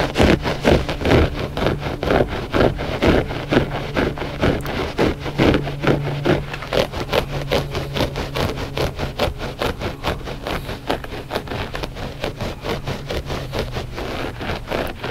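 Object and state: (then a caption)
Loop-pile rug scratched. Short fingernails scratch and rub the pile of a flat gray loop-pile textile rug that is solid and soft. The result is a steady run of quick, dry scratching strokes, roughly two per second and only loosely even, with a faint low hum underneath throughout.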